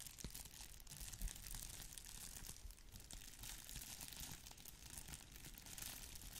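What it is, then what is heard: Plastic bubble wrap mailer. A small, flat red plastic bubble-wrap mailer is held up while long nails scratch its surface and fingers crinkle it. The result is a steady, dense crinkling and scratching with a bright, hissy texture over a low rumble, with one slightly louder crackle near the second mark.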